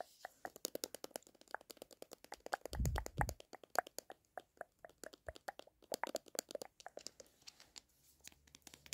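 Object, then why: Paper-wrapped sherbet tube. A filled Sherbet Fountain tube with a paper wrapper is held in the hand while fingernails tap and scratch along it. The result is a rapid, dense series of short, dry clicks and crinkly scratches centred in the midrange, with bright edges. A brief low rumble swells near the middle of the clip.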